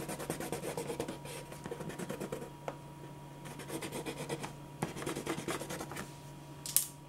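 A grey pen or marker held in the fingers rubs and scratches shading strokes over a drawing on a thin white paper sheet lying flat on a dark surface, while the other hand steadies the sheet. Quick bursts of dry, papery scratching come in clusters with short pauses, over a faint steady low hum. A sharp, bright tick sounds near the end.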